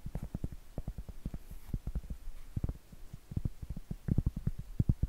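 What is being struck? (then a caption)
Cork trivet tapped with fingernails. Medium acrylic nails tap and scratch on a round, flat, solid cork trivet held upright. The result is a quick run of soft, dull, low thuds with almost no ring and a faint scratchy texture between them, growing somewhat louder toward the end.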